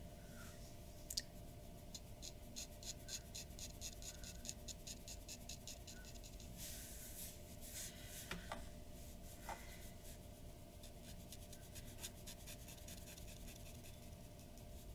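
A glass dip pen nib scratches fine detail strokes on the face of a white paper drawing sheet lying on a wooden desk. Quick, bright, dry scratches and ticks come in dense bursts over a steady low hum and a faint mid tone throughout. The whole clip stays quiet.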